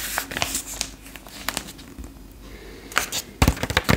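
Long pink acrylic nails tap and scratch the black-and-white page of a retro paper fashion magazine held open, then bend the page. Sharp, bright clicks and papery scratches come at an uneven pace over a soft crinkling bed. A cluster of louder taps and crinkles closes the clip.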